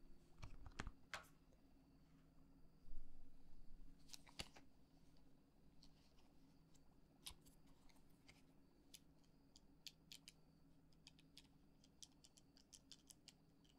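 A small, solid stack of glossy paper tarot cards held in one hand is tapped and scratched by long acrylic nails on the top card and along the deck's edges. Quick, irregular, crisp clicks and brief bright scratches sound over a steady low hum, all at a quiet level.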